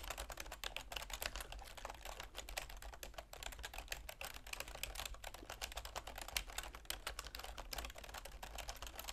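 Long nails and fingertips type continuously on a full-size black plastic keyboard with a silver plastic frame. The result is a steady stream of quick, dry, bright plastic clicks and taps, each dying away almost at once, over a constant low hum.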